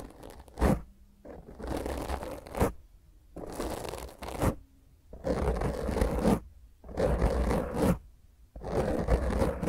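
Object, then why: Foam microphone windscreen. Long grey fingernails on both hands scratch intensely at a black foam windscreen on a microphone. The result is rough, muffled scraping in bursts separated by brief pauses, with a heavy low rumble and sharp thumps, and little high-end brightness.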